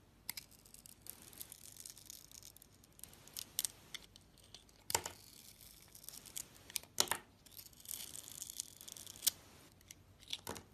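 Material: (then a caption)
Soap. A utility knife blade slices the blue glitter coating off a solid soap bar with a white core, held in the hand. The result is a series of quiet, crisp, bright scraping and shaving strokes with little low end, some sharper cuts standing out.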